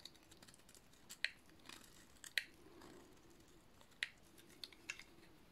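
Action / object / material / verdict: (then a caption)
scrape / bar of soap cut with a metal blade / soap / none. A metal utility-knife blade shaves a solid, dry blue soap bar, giving quiet, dry, bright scraping strokes. Several crisp snaps stand out at uneven intervals and stop instantly, with a soft scratchy hiss between them.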